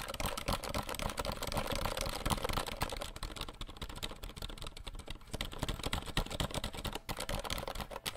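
Fingertips of both hands tap fast across the keys of a compact 60% RGB plastic mechanical keyboard held behind the microphone. A dense, continuous stream of short, dry clicks and clacks keeps a low, thocky body under a bright edge, with each tap dying out almost instantly.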